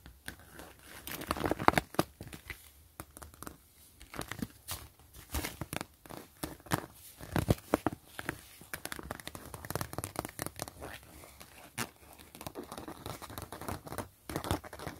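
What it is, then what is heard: Plastic zipper pouch scratched. Long glittery acrylic nails and fingertips scratch and trace across a flat, mostly empty clear PVC mesh zipper pouch with grid reinforcement and a gray zipper edge. The result is a steady run of dry, crinkly scratches and quick sharp ticks, with a few louder crackling swipes rising above the quiet rustle.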